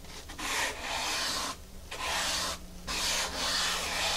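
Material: Foam.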